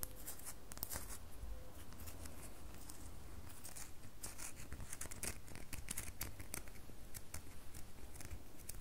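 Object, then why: Solid bar soap. A solid red bar of soap held in the hand is scratched with long fingernails. Quiet, dry, crisp scratching strokes with bright edges sit over a low, steady rumble. From about halfway through, the strokes settle into a quicker, fairly regular rhythm.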